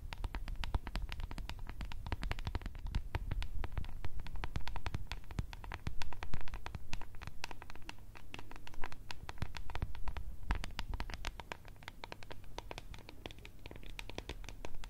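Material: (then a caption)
Plastic. A small, clear, translucent plastic cup with blue contents is scratched and tapped with long red nails close to the microphone. A dense, steady stream of quick, crisp clicks and scratchy taps sits over a low, heavy rumble, swelling a little louder around the middle.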